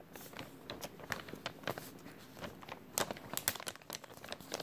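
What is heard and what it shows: An empty, thin clear plastic bag with a white label is crinkled and squeezed with fingers. It makes a continuous run of sharp, bright crackles and crinkles, with brief louder snaps, over a soft, quiet background with little low end.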